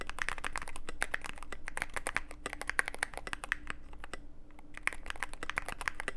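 Fingertips of both hands type continuously on a Cyberboard mechanical keyboard with plastic keycaps and a dark case. A steady run of sharp, short clacks centers around 1.6 kHz with bright clicky tops, over a constant low hum. One brief lighter patch comes near the middle before the typing picks back up.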